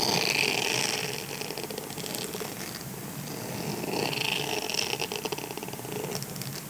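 Fingertips and nails scratch and flick the long bristle rows of a grey silicone scrubber sponge, a flexible solid pad. The result is a dense, crackly scratching with a bright hiss and rapid ticking flicks at about four per second. It swells louder at the start and again around the fourth to fifth second.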